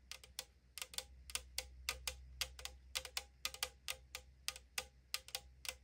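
Long nails tap quickly on the side wall of a tall 500 ml aluminum drink can lying on a wooden table. This gives 24 bright, hollow, thin-metal clicks in quick clusters, each dying away almost at once. A faint steady low hum sits underneath.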